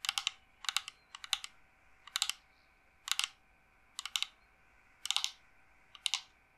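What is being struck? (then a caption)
Carved wooden incense box. Long nails rapidly tap and scratch a dark, hollow, carved wooden incense box held upright. The result is eight quick bursts of crisp, bright clicks with very short decay, separated by brief pauses over a faint steady hiss.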